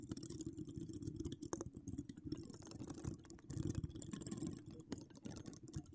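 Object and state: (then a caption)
Metal mesh microphone grille being scratched. Long decorated acrylic nails scratch across a hollow metal mesh microphone grille. The result is a dense, continuous scratching with a heavy low, rumbling body and fine, bright crackling ticks, rising and falling in intensity throughout.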